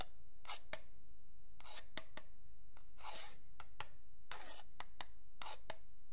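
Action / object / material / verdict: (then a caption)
scrape / wooden ruler scratched and tapped with a pen tip / wood / none. A metal pen tip scratches and taps along the edge of a long, flat, solid wooden yardstick held by fingertips. Soft, bright scratching strokes alternate with sharp little ticks over a steady low hum.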